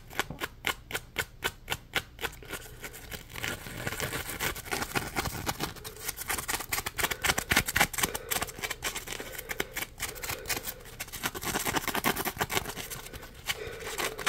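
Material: Polymer foam.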